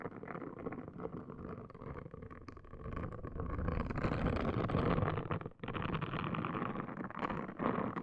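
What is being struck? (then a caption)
Silicone scalp brush scrubbed on a woven mat. A hand with long green nails scrubs a pink, palm-sized, hollow-domed silicone hair washing brush across a woven placemat and scratches its top. The result is a dense, rough, continuous scratching and rubbing with a low, muffled body. It grows louder through the middle, cuts out briefly, then resumes.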